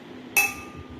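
A drinking glass is struck once, giving a single bright clink with a sharp attack and a clear high ringing tone that fades within a fraction of a second. Faint low background noise continues before and after.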